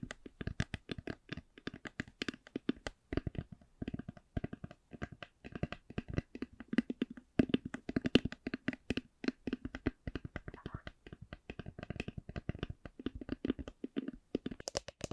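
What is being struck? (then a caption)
Hard eyeglass case covered in faux leather. A black Ray-Ban hard eyeglass case, hollow and covered in faux leather, is tapped and scratched with long nails. Dozens of quick, dry, hollow taps sound in an uneven stream with a low, muffled body and almost no ring, mixed with soft scratching.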